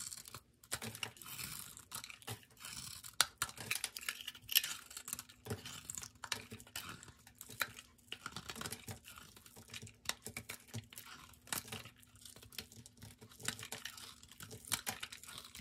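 A solid white bar of soap with a brown glitter rim, held in the hand, is cut into slices and shaved with a metal blade, and white soap flakes pile up on a wooden table. Dense, bright crisp scraping and crackling runs throughout, with many short sharp snaps and almost no low end, over a faint steady hum.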